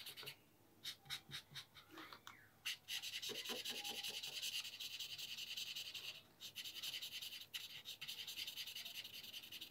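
A felt-tip marker held in the fingers rubs and scratches back and forth across flat white drawing paper lying on a wooden board, shading in black areas. Quick, bright scratchy strokes start in short separate bursts, then merge into a steady high rasping rub that briefly pauses before resuming in fast, uneven strokes.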